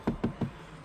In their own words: ça sonne fort plastique hein. C'est du plastique dur partout ici.